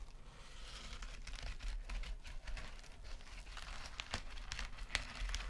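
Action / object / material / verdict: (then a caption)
scrape / metal mesh scouring pad / metal mesh / none. Long nails scratch and tap fast on a small, flat gold metallic mesh scrub sponge resting on a sequin mat. The result is a steady, crinkly rustle with bright, sharp clicks scattered throughout, over a low background rumble.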